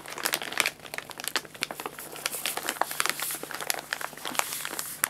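An empty, hollow printed paper guinea pig food bag with its top folded over is crinkled and rubbed with fingertips on the lap. It makes continuous dry, bright crinkling full of sharp crackles that rise and fall in short bursts, with almost no low end.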